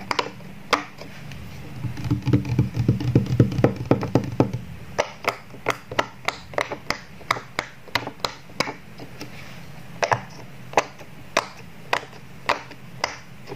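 Fingertips press the hollow bubbles of a square rainbow silicone pop-it toy row by row on a wood-grain table, popping them. Short, sharp pops come in a dense, quick run over a low hum, then continue as evenly spaced single pops that stop almost instantly.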